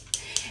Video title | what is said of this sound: Queen B Lipsense Application #newmakeup #lipstick #tutorial | if you hear that clicking noise it's actually um a ball mixing or bead mixing up your color